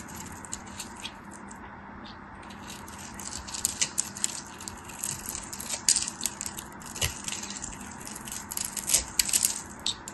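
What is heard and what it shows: A hand-sized, solid, dry white bar of soap with a textured surface is held in fingers with long white nails while a metal craft knife scrapes and shaves along its edge, so crumbs fall off. Many crisp, bright scraping and crackling ticks pile up over a steady hiss, with the densest bursts near the middle and toward the end.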